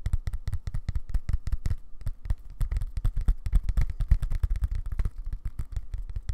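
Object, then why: Leather-covered bluetooth keyboard case. Fingertips and nails tap rapidly on the dark leather-covered back of a flat, tablet-sized bluetooth keyboard case held up in both hands. The result is a quick, irregular run of soft, dull, low thumps that die away almost instantly, with faint light clicks on top.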